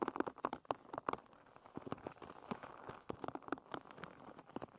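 Long red nails scratch and flick across the wooden pins of a hairbrush lying with its pins facing up. The result is a quick, irregular run of short, dry clicks and ticks with sharp attacks, centered in the midrange, over a faint scratchy rustle.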